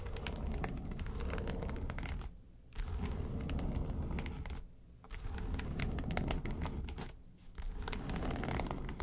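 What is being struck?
Faux leather makeup case.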